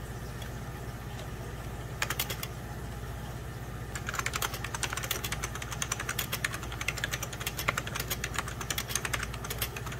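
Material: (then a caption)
Plastic. Fingertips and short nails type rapidly on a full-size 90s Packard Bell keyboard, its beige plastic keys set over a hollow plastic case. A brief burst of sharp, bright clicks comes around two seconds in, then steady fast typing runs from about four seconds to the end. A constant low hum sits underneath throughout.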